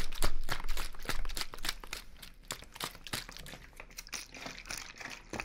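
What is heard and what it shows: A small clear plastic water bottle with a purple label and cap, hollow and partly filled with water, is held in one hand and squeezed and crinkled by the fingers beside the ear. Rapid, irregular crinkling crackles and sharp snaps follow one another, loudest in the first two seconds and then softer and sparser.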